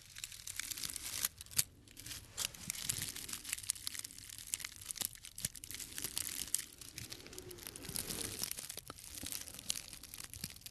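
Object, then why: Small bundle of dried grass stems. A small tied bundle of thin, green, dried grass or herb stems with white flower tips is held in the hand and crinkled and rubbed with the fingertips. The result is a steady stream of quiet, dry, bright crackling and crunching, with a few sharper snaps standing out.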